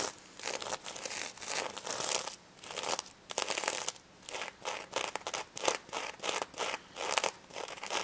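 Long red nails scratch in repeated short strokes across the reversible plastic sequins of a small pink stuffed plush pig toy. Each stroke makes a bright, crinkling, rasping burst with almost no low end, separated by brief quiet gaps.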